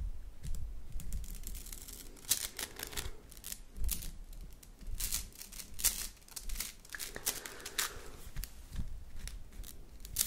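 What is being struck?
Plastic slinky spring.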